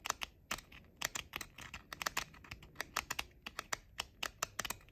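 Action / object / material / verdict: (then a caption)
tap / plastic over-ear headphone ear cups / plastic / none. Short nails tap quickly on the hollow outer shells of pink plastic JBL over-ear headphones. The taps are sharp, bright, hollow clicks with almost no low end, each dying out at once, in an uneven rapid patter that sounds much like typing on a keyboard.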